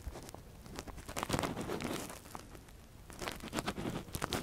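A long, thin metal earpick scratches inside the ear canal of a silicone ear model, handled with a latex-gloved hand. Soft, crackly scraping and crinkling rustles come in close, quick bursts, with brief bright ticks over a low, muffled rumble.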